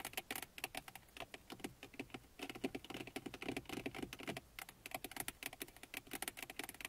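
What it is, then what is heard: Plastic car dashboard tapped with nails. Long nails rapidly tap and scratch the large, hollow, textured plastic top of a car dashboard on the passenger side. The result is a dense run of quick, dry clicks and scrapes with very short ring and a thin, bright, crisp tone.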